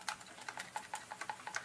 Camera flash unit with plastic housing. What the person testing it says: shake it make sure nothing's rattling around in there make sure that capacitor is staying in place and it does sound like it is